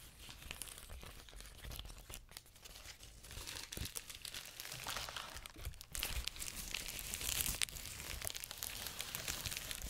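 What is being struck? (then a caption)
Plastic bubble wrap sheet. A large clear plastic bubble wrap sheet is held close to the mic while fingertips and nails pinch and pop its bubbles. Dense, bright crinkling and crackling runs throughout, with sharp, quick pops that grow louder in the second half.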